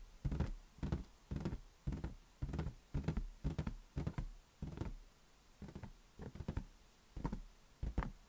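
Fingers tap a large, hollow, inflated green latex balloon resting on a palm. The result is soft, deep, muffled thumps that die away almost at once, falling in quick irregular bursts of a few taps each.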